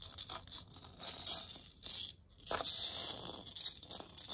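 Long nails tap rapidly on a hollow plastic moon lamp sphere glowing orange, held close. The crisp, bright clicking and light scratchy patter are almost entirely high-pitched with little low end, pausing briefly just past the two-second mark before continuing.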